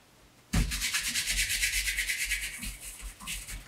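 After a brief quiet moment, the bare palm and fingers of one hand rub and polish the upper of a dark brown pebbled leather Allen Edmonds MacNeil (Brooks Brothers) wingtip shoe, which has a shoe tree inside and is held in the other hand. The strokes make a quick, steady, rhythmic swishing hiss that is mostly bright and high with a faint low thump under each stroke.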